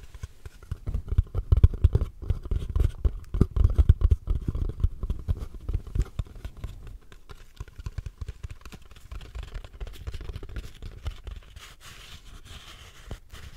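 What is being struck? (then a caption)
Small cardboard box. Long nails tap and scratch on a small, hollow purple cardboard gift box with a ribbon and its lid closed, held in front of the microphone. Quick, irregular, dull low thuds pile up densely, loudest over the first six seconds. The tapping then thins into softer, quieter taps and scratchy brushing until the end.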